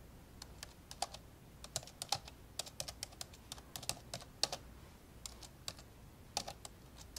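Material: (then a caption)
Plastic. Index fingertips tap slowly on the keys of an old dark grey plastic laptop keyboard, the laptop lying open. About thirty short, bright, dry clicks come at an uneven pace, each dying away almost at once over a faint low background hum.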